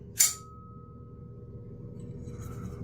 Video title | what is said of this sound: Blade Talk Daily ep. 355 (8am CST -06:00UTC) My first day off in a month straight - let's chill | hear the ting in here, but I don't know if you can hear how long it rings out for